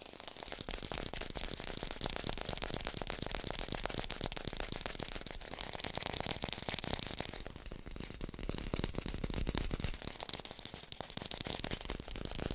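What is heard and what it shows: Fingertips tap rapidly on an artificial green apple, recorded with a hi-fi microphone. The taps blur into a dense, steady crackling patter with a bright, hissy top and a low rumble underneath, holding an even level throughout.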